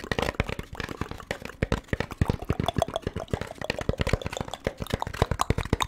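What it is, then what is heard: Molded paper pulp food tray. An empty, thin-walled beige molded paper pulp compartment tray is held in both hands and tapped and scratched with the fingertips close to the microphone. A rapid, uneven series of short, dull, low-heavy taps that stop almost instantly comes through, mixed with soft, papery scratching in between.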